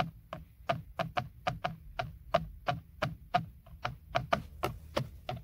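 A fingertip and nail tap and scratch the hollow, hard textured plastic airbag cover in the center of a BMW steering wheel. A quick run of sharp, dry taps with almost no ring is heard, each with a hollow knock around the mid range and a faint low thump. The strikes fall at an uneven, brisk pace over a steady low background hum.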